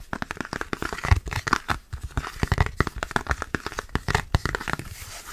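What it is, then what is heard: Plastic food container lid. Fingertips rapidly tap and grip a thin red plastic food container lid, including a close knuckle grip, making fast, chaotic crinkling and crackling clicks. Short dull thumps are mixed with papery, tearing-like rustles over about five seconds.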